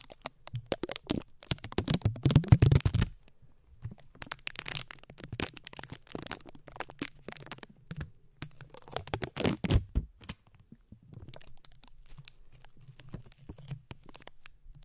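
Fingertips and short nails scratch and tap the bare, hollow, round metal mesh grille of a condenser microphone. Dense, crackly scrapes and quick taps come in bursts, loudest around two to three seconds and again near nine to ten seconds, over a steady low hum. Each tap is dry and short, with almost no ring.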